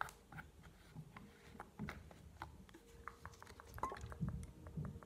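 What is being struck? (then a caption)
Plastic bottle with plastic nozzle cap. A tall blue plastic solution bottle with a white plastic nozzle cap is tapped and scratched by fingernails on both the cap and the bottle body. The result is a quiet, close series of short, dry clicks and soft scratches over a low, muffled rumble, with brief mid-high ticks standing out here and there.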